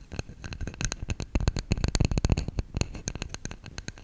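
Fingertips tap the sides and lid of a hollow, round lidded bamboo salt canister held in both hands. A rapid, uneven run of light, dry taps follows, each a soft low knock with a bright tick on top that dies away almost at once.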